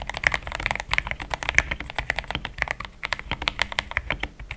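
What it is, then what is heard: Plastic mechanical keyboard. A compact pink-and-white mechanical keyboard with thick plastic XDA keycaps, a polycarbonate plate and linear switches sits on a desk mat and is typed on quickly with the fingertips of both hands. The result is a rapid stream of short, bright plastic clacks centred around 2.2 kHz, with a soft low thud beneath each press and almost no ring after.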